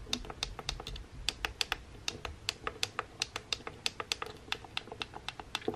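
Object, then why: Plastic hair straightener buttons. Fingertips and nails repeatedly press and tap the small buttons on a pink plastic hair straightener with a black cord. About thirty sharp, bright plastic clicks come in a steady, irregular stream, each dying away almost instantly over a faint low rumble.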